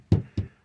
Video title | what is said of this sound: Open The Door For The Future!!!! | it's Hollow I mean you can you hear that there's nothing there